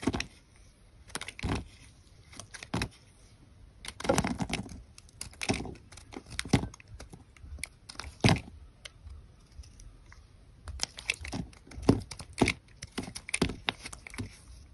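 A metal utility knife blade cuts and scrapes thin slices off a solid white rectangular soap bar held in the hand. Quick, irregular crisp scrapes and crackly cuts come in short bursts with quiet gaps between them, each with a bright edge and a soft, low body. The strokes are dry and close, stopping instantly with no ring.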